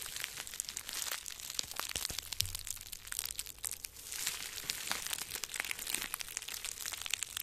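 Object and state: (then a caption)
Plastic bubble wrap. Small crumpled pieces of clear plastic bubble wrap, one held in each hand, are squeezed and crinkled with the fingers close to the microphone. A dense, bright crackling and crinkling runs throughout, made of many sharp little snaps, easing off briefly around the middle before picking back up.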